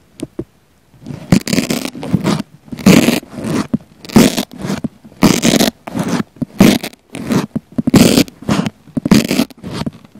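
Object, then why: Foam sponge. A wooden cocktail pick with a pink flamingo topper pokes and scratches a round pink foam sponge held in one hand, with a small black lavalier mic pushed into the sponge's center. After two brief clicks, close, irregular bursts of rough, rasping scratching follow, with a muffled low body and a bright, airy edge.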